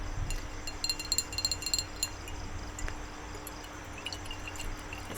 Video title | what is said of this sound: ASMR- Painting My Nails- Tapping, Crinkles, Soft Spoken | so full i don't think you can really hear it